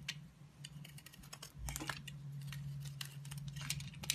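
A utility knife blade scratches and carves slices from a solid rectangular black soap bar held in the hand. Quick, bright, dry scraping clicks come in an irregular rhythm over a steady low hum.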